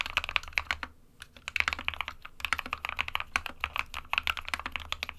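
Fingertips of both hands type rapidly on an SK61 small 60% mechanical keyboard with a white plastic case and plastic keycaps, resting on a printed desk mat. Quick, bright, clicky key taps come in dense bursts with very short ring and little low end, with a brief pause near the one-second mark before the typing resumes.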